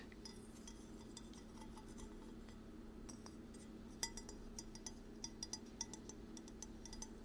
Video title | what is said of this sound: ASMR Binaural Ear to Ear Ceramic Tapping | This is a fall bowl. It's got leaf texture inside.